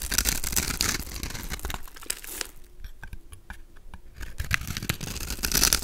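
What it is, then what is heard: Bar of soap being carved. A solid, palm-sized pink soap bar with a pre-scored grid is held in the hand while a golden utility knife blade scrapes and carves off small cubes. Dense, bright crinkly scraping and crunching fills the clip. It dips to quieter, sparser cuts in the middle, then builds back to loud scraping at the end.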